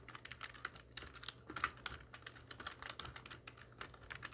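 Long nails and fingertips of both hands type very rapidly on a full-size black plastic computer keyboard with hollow keys resting on a wooden desk. The result is a dense, uneven stream of bright, hollow clicks and taps that die away almost instantly, with a few sharper accents standing out from the flurry.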